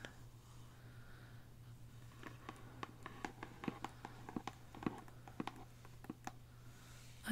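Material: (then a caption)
Cardboard. Long blue acrylic nails tap and scratch the top and edges of the lid of a small, closed, hollow Sephora Play! cardboard subscription box, printed in black-and-white stripes with a photo print, sitting on a marble surface. After a quiet start, a run of short, dry, sharp clicks with light scratching follows. A faint steady low hum sits underneath throughout.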